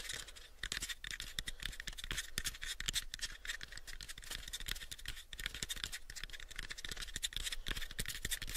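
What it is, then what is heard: Light wooden box being scratched. Fingernails scratch the surface of a light, pale wooden box held mostly covered by the fingers. The scratching is a fast run of short, dry, bright strokes over a steady low hum, with no ring after each stroke.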